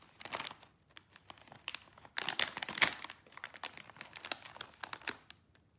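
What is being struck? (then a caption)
Plastic foil snack bag. A small, sealed, full bag of popcorn chips made of crinkly plastic and foil film is held and squeezed by bare fingertips and palms. Its surface crinkles and rubs in bursts of bright, sharp crackling with almost no low end, loudest in the middle of the clip.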